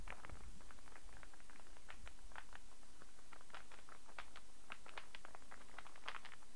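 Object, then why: Wooden star burr puzzle. A solid light-wood star burr puzzle is handled while fingertips and nails tap it and its pieces click. The result is a continuous stream of quick, light clicks and taps with a woody mid-range tone over a low rumble.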